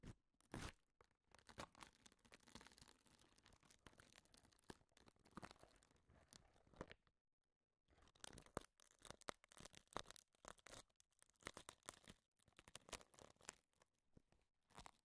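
A hand pounds brown eggshells, some whole and hollow, others already cracked, with a metal meat tenderizer mallet inside a clear plastic tub. Dense, rapid crunching and crackling fills the clip, broken by a short silent pause near the middle. Many sharp, bright cracks are heard, some with a hollow knock from the plastic tub.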